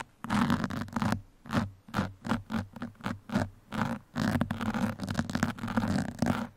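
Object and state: Foam microphone windscreen scratched with pins.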